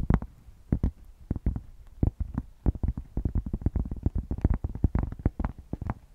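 A thick, solid cork square is held up close to the microphone and scratched with long painted nails. It makes a rapid, uneven series of short, dry, bassy scrapes and thumps with almost no ring and little brightness.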